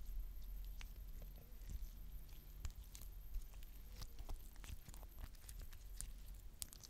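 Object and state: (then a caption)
Glitter slime. A palm-sized lump of soft, stretchy purple glitter slime is held in both hands with long dark-painted nails, squeezed, stretched into a wide sheet and folded back. It makes quiet, sticky crackling and popping sounds, short bright clicks scattered over a steady low rumble.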